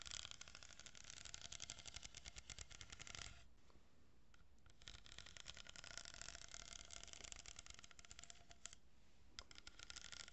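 A long, hollow, empty brown cardboard tube with a strip of plastic pearl beads glued along one edge is held close to the mic and tapped and scratched with long painted fingernails. Rapid, dense, bright clicking and scratching runs over hollow low thumps. The sound briefly softens to a quieter scratch before the quick tapping resumes.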